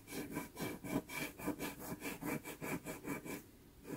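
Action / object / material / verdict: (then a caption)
scrape / textured pastel paper rubbed with a cotton swab / paper / none. A cotton swab held by the fingertips gently rubs and blends pastel on the iris and eye edge of a drawing on a small taped sheet of Pastelmat pastel paper. Quick, rhythmic back-and-forth strokes make a soft, scratchy, airy brushing sound, then pause briefly before one last stroke.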